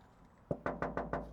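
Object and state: Solid steel vehicle body.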